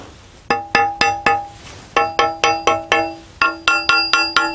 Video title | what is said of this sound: l'Amandier Gisant | c'est pas un son mat, c'est comme une cloche, la cloche du marbre, qui nous indique que ce bloc est sain